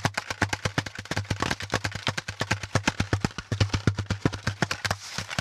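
A brown corrugated cardboard packaging insert, with a flat top and a pleated hollow underside, is tapped with the fingertips of both hands. A quick, uneven run of about 35 short, dry taps is heard, each with a hollow low thump and a bright papery edge that dies away at once. A steady low hum runs beneath the taps.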